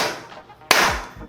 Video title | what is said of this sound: 이 특별한 창 하나로 수평 확인이 조금 더 쉽고 빨라집니다! | 이런 강한 곳에 떨구게 되면 통 튕기면서 굉장히 경쾌한 소리가납니다